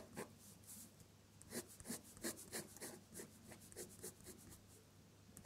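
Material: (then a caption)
Paper. An ink-laden metal dip-pen nib scratches across a sheet of drawing paper while drawing the petals of red flowers in colored ink. Short, bright scratchy strokes rise and fade in bursts over a quiet, low background hum.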